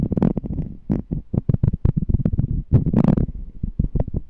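Fingernails tap and scratch the side of a small, clear, empty glass jar with a checkered lid, held in both hands. Quick, dull, low-pitched taps come in an uneven run, mixed with short scratchy rasps that briefly turn brighter.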